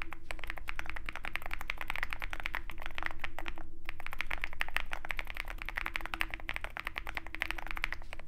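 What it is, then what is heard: Mechanical keyboard typing. A compact 65% Zoom65 mechanical keyboard with a dark metal case and white and black plastic keycaps is typed on rapidly with the fingertips of both hands. It gives a steady stream of short, clicky key taps with a bright clack around 1.9 kHz over a low hum, with a brief pause near the four-second mark.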